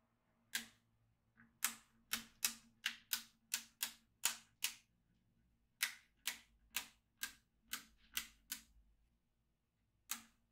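A yellow magnetic pen is traced across a black plastic magnetic drawing tablet filled with steel beads, and the beads click into place. About eighteen sharp, bright clicks come in an uneven sequence with pauses between them, each dying away almost at once, plus a faint tick near the start.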